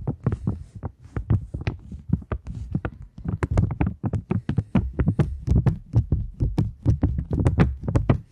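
A polymer £20 banknote held up in both hands is tapped and scratched with long nails. The result is a steady run of quick, dry taps with a dull, thumpy low body and occasional bright, crinkly scratching edges, each tap dying away almost instantly.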